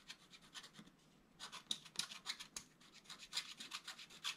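A wooden stylus scratches the black coating of a thin, flat scratch-art paper sheet lying on a table. Quiet, bright, dry scratching strokes come in quick, uneven bursts, with a short pause near the one-second mark. Each stroke stops cleanly with no ring.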